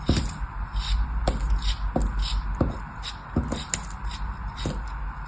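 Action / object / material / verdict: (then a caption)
scrape / molded kinetic sand chunk cut with a small metal knife / kinetic sand / none. A small, solid, molded chunk of kinetic sand, held between the fingertips of a hand with long orange nails, is sliced and scraped with a small metal knife blade. About eight short, crisp cuts with gritty, crumbly scrapes between them sit over a steady low hum.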